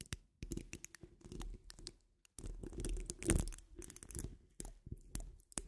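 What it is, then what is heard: Metal mesh microphone grille. Long almond-shaped nude acrylic nails on both hands, rings on the fingers, scratch and tap the rounded, hollow woven steel mesh grille of a large condenser-style microphone. Dense, crackly scratching comes in bursts with a heavy low-end rumble and bright, sharp ticks, broken by brief silent pauses. No voice is heard.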